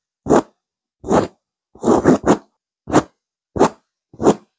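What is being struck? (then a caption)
Stuffed fabric pillow with woven texture. Two hands with long manicured nails vigorously scratch a soft, stuffed grey fabric pillow with a raised chevron woven texture. Short, separate bursts of dry, rustling scratching sit mostly in the low-mid range, with a faint bright hiss on top. Each stroke stops quickly into silence.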